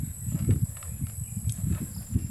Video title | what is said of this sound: Buhay probinsiya | Umaalog na yung sabaw niya